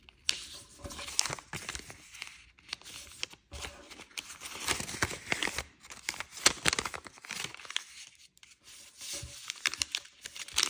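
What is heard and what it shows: A square of thin petal-pattern origami paper is folded by hand, with fingertips creasing and rubbing the sheet. Dense, bright crinkling and papery scraping come in quick bursts with brief pauses, and almost nothing sits in the low end.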